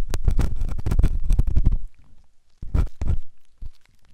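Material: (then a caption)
Silicone. The tip of a metal ear pick, held in the fingers, scrapes inside the ear canal of a white solid silicone ear on a binaural microphone. It makes dense, muffled, low-heavy scratching and rumbling rubs. These run steadily for almost two seconds, go quiet, then return in a couple of louder bursts before trailing off into faint scrapes.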